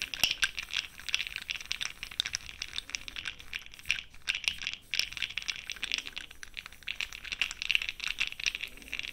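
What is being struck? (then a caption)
Plastic jar of small cosmetic powder pearls. A makeup brush swirls inside a small clear plastic jar filled with cosmetic powder pearls, held close with long pink nails. It produces a continuous bright, dense rattling and clicking of the pearls, with brief dips between swirls.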